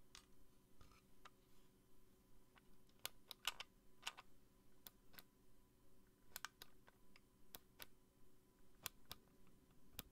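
Long nails tap a small pink plastic bunny-shaped DVA light on a black plastic base held in the hand. The result is a steady run of quick, dry, bright plastic clicks that stop instantly with no ring, over a quiet low hum.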